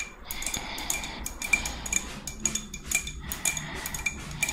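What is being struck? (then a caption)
Spiny murex seashell. Long red nails tap and scratch the spines of a hand-sized, hollow, thick-walled white spiny murex shell. Bright, clicky taps with a faint ringing tone around 2.4 kHz cut off quickly, mixed with soft scratching at an uneven, irregular pace.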